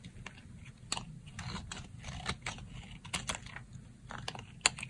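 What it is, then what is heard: Dry soap bar, crisp when cut. A dry pink soap bar held on the palm is sliced into thin plates with a yellow box-cutter blade. Quiet, crisp, crunchy scraping and snapping sounds, mostly high and bright, come in short bursts over a low background hum. Sharper cracks stand out near the middle and end.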